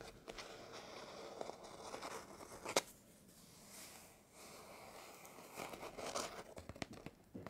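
Fingertips and short nails scratch and rub over the cover illustration of an old, thin hardback book, "Clanland," with a textured paper/card cover, lying closed on a wooden table while one hand holds it. Dry, bright scraping and crinkly rustling come in uneven bursts, with a sharp tick near the middle before a quieter, softer rubbing stretch, then the scratching picks up again.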